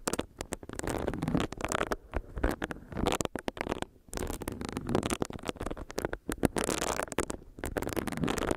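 A small, solid pink silicone facial brush is tapped with long nails and its bristles are rubbed against the microphone. The result is a dense run of soft, dry, crackling taps and muffled scratchy rubbing, weighted toward the low and middle range with no ringing after each contact.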